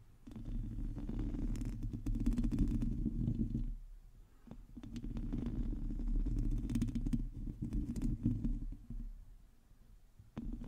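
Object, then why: Metal mesh microphone grille. Long teal nails of both hands scratch a hollow domed metal mesh microphone grille, producing a dense, low, rumbling scrape with quick fine ticks and crackles scattered through it. The scratching swells in two long bursts, dips briefly in between, fades, and then picks up again at the very end.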